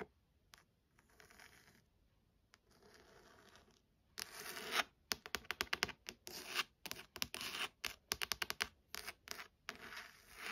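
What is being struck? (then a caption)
Embossed leather-like hardcover book cover. Long nails tap and scratch the textured, leather-like embossed cover of a solid burgundy hardcover book with gold lettering. Soft, faint rubbing strokes give way to louder, rapid bursts of bright, dry scratching and tapping. Each sound stops short with no ring.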